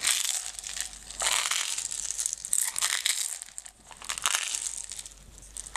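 A closed, clear plastic jar full of green decorative stones, with a label on it, is tilted while long nails scratch its surface. The result is a continuous bright, dry crinkling and crunching scratch with almost no low end, swelling and fading in uneven bursts as the stones shift inside.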